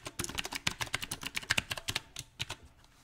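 Fingertips type on a mechanical keyboard with round plastic typewriter-style keycaps set on a silver metal frame. About sixteen short, bright, clicky key taps land in an uneven rhythm, each dying away almost instantly, with the last ones growing sparser and softer.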